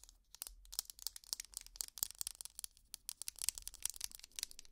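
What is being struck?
Ridged plastic tangle toy scratched with plastic nails.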